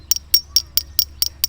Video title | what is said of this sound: ฟังเสียงเคาะ..แยกหยกแท้! | แล้วมันคือหินที่คล้ายหยกนั่นเอง